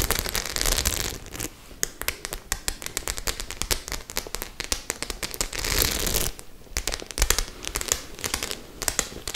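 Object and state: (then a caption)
Studded faux leather clutch bag. Long nails scratch and tap across the metal studs of a hollow white faux leather clutch bag. Bright, rasping scratches come in sustained stretches at the start and around the six-second mark, with quick, sharp clicky taps in between.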